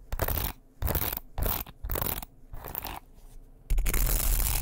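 A light, solid wooden hairbrush with bristles is held by its handle close to the microphone while fingers scrape across the bristles and tap the wooden body. Bursts of dry, crunchy scratching alternate with quieter gaps, and a sustained, louder scraping rush closes the clip.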